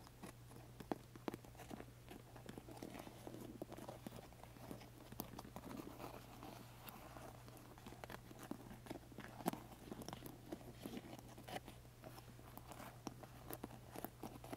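Fingertips and nails tap and scratch across the domed metal studs and textured faux leather of a large, soft, hollow black pleather handbag. Quiet, dry clicks and crisp scratches come in a quick, uneven stream over a steady low hum.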